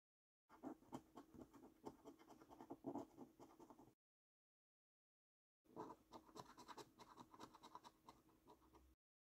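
A coin scratches the coating off a thin, flat paper £15 5x £300,000 Luxury Lines National Lottery scratch card held down by hand. Two bursts of quick, rasping scraping, each about three seconds long, are separated by a short silence. The scraping carries a faint steady tone near 290 Hz under a bright, gritty texture.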